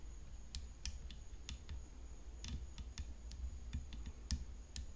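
Long fingernails tap the frame of a tennis racket in a quiet, irregular series of sharp, dry clicks with very little ring. A faint steady high-pitched tone and a low hum sit underneath throughout.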